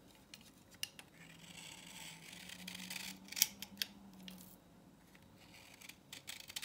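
A utility knife blade scrapes the grooved face of a dry vintage solid orange soap bar held in a palm, shaving it into powder. Soft, bright scratching builds into a steady shave with a faint low hum, broken by several sharp ticks and clicks.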